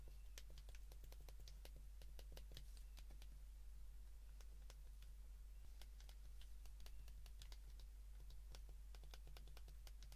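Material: Plastic.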